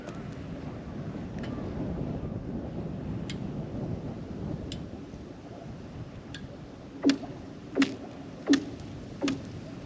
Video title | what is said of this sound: 11/30/2024 Fairmont Minnesota ICE Report | sounds like solid ice it does that sounds like good ice